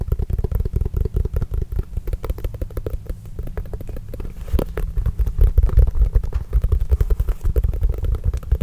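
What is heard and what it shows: A full-size Spalding NBA composite leather basketball, hollow and inflated, is held close and scratched and tapped with fingertips and nails. A dense run of quick, soft, low thumps with a deep hollow boom mixes with faint scratchy clicks, steady throughout and slightly louder toward the end.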